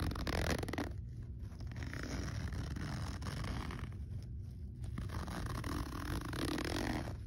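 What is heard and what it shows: Fingertips pull the small metal slider of a black fabric backpack zipper along its teeth, close up. The result is a steady, rough rasp with a heavy low rumble and little brightness, swelling slightly near the start and end.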